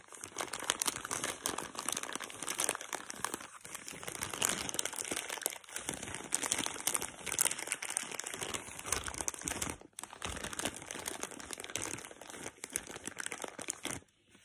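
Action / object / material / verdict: scrape / thin plastic packaging bag / plastic / none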